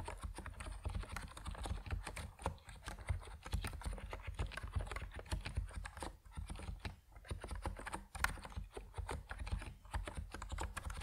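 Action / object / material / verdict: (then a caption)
tap / plastic mechanical keyboard with PBT keycaps / plastic / none. Fingertips type steadily on an Epomaker NiZ Plum Atom 68, a compact plastic mechanical keyboard with white and purple PBT keycaps. Dense, quick keystrokes produce short clicks with a strong low thump, continuing with brief pauses throughout.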